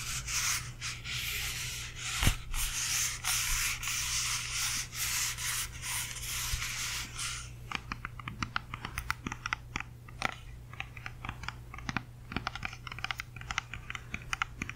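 A whole, solid, fist-sized red and yellow apple is held in both hands close to the microphone while long manicured nails scratch its skin, making a steady, bright, hissing scrape for about the first seven seconds. The sound then turns into a quick, irregular series of sharp, crisp taps on the skin, all over a faint, constant low hum.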